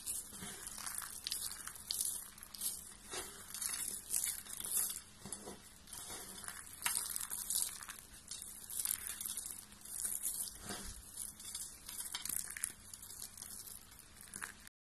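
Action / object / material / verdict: scrape / soap shavings / soap / none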